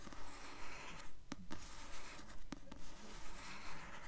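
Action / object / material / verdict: scrape / paperback book with glossy paper cover / paper / none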